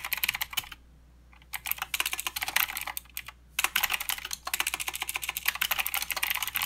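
A mechanical keyboard with plastic keycaps and blue switches is typed on with the fingertips of both hands, giving bright, sharp clicks in quick bursts. Two brief pauses break the clatter, which then resumes.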